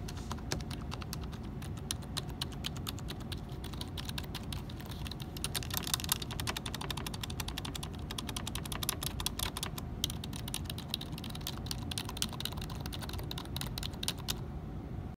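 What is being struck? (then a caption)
Plastic computer keyboard. Fingertips tap and press the Esc, Tab, Caps Lock and letter keys on the left side of a black plastic computer keyboard. The result is a dense, steady stream of short, sharp plastic clicks at a fairly even level, over a constant low rumble.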